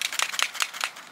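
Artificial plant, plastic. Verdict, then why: Fake. A fake plastic plant from IKEA is tapped and handled, giving quick, crinkly, rattly clicks that are bright and high with almost no low end. The taps come in short bursts about every fifth of a second and fade into a faint rustle by the end.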